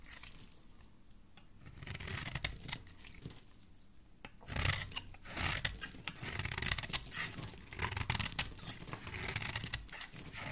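A solid cream bar of soap, held in the hand, has its face and edges scraped with a metal utility blade. Soft, bright, rasping shaving strokes come in uneven bursts, growing louder and denser in the second half, with little low-end body.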